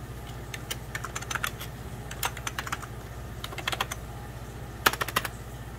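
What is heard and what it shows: Slow fingertip typing on the keys near the spacebar of a beige plastic 1990s Packard Bell computer keyboard. Short, bright plastic clicks come in irregular bursts with brief pauses between them, over a steady low hum.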